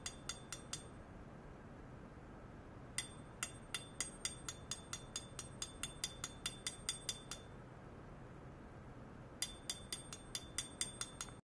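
A thin metal rod taps a hollow stainless steel pipe, about 20 cm long, lying on a lace cloth with a sensor probe clipped to one end. About 32 short, bright metallic clinks with a high ringing tone fall in three bursts separated by pauses. Each tap dies away almost at once over a steady low hiss.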